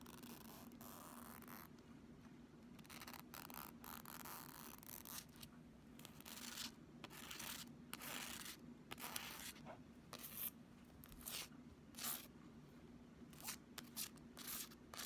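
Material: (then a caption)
Plastic. A pink Flexi Ruler, a thin, solid, flexible plastic strip, is held up and scratched with the fingernails of one hand. The scratching comes in irregular bright, hissy bursts of varying length over a quiet, steady low hum.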